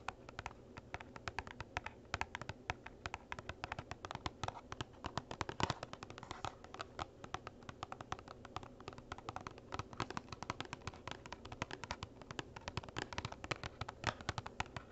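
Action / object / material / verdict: tap / small cardboard box / cardboard / none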